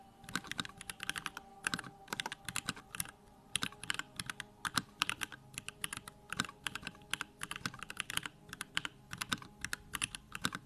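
Fingertips type rapidly on a small 65% Bakeneko65 mechanical keyboard with Durock lavender switches, a plastic case and pink-white plastic keycaps, resting on a wooden desk. A steady stream of short, bright plastic clacks comes in quick bursts with brief pauses, each keystroke dying away almost instantly.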